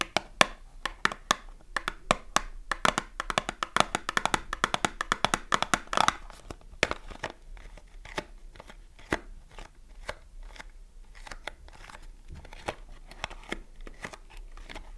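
Long nails tap and scratch the sides and back of a small green printed cardboard box full of soap as it is turned in the hands, while a second box lies untouched on the table. Dry, clicky taps with a papery tone around 1 kHz come in a dense rapid flurry for the first six seconds, then thin out into sparser taps and soft scratching.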